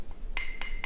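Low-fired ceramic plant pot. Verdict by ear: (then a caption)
Dull. Three taps on a short-bodied, low-fired ceramic orchid pot with pigment decoration give a very dull sound that dies away quickly, with a faint ring near 2 kHz. The pot was fired at an even lower temperature, so its internal pores stay open and it breathes better.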